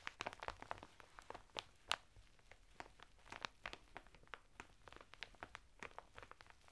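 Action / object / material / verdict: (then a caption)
scrape / sisal bath mitten in crinkly plastic wrap / plastic, sisal / none. Fingertips of both hands scratch and tap rhythmically on a sisal/jute bath mitten sealed in crinkly clear plastic wrap, its red cardboard header flap torn open and folded back, lying flat on a table. A quick, uneven series of short, dry, crackling taps and scratches, bright and crisp with almost no ring, sits over a quiet background.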